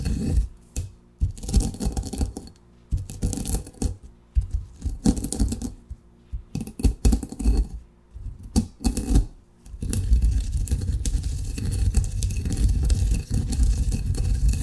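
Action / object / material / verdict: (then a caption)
scrape / coffee beans in a granite mortar with pestle / granite / none. A granite pestle grinds coarsely crushed coffee beans in a granite mortar, making irregular crunching taps and short scrapes for about the first ten seconds. It then shifts into a steady, continuous gritty grinding rasp that runs to the end, with a deep, low-heavy body.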